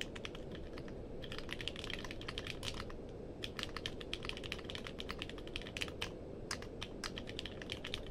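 Fingertips type on a compact mechanical keyboard with a purple case and plastic keycaps, producing a quick run of short, sharp clacks with bright tops. The clicks die away almost instantly over a steady low hum that fills the background throughout.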